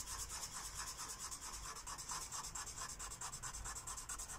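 A purple felt-tip marker rubs back and forth across a thin white coloring book page resting on a wooden table, filling in a shape. The result is a continuous, bright, scratchy rubbing with a steady rhythm of strokes that swell and fade, plus a faint low rumble underneath.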